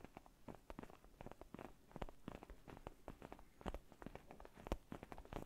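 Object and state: Faux leather neck pillow.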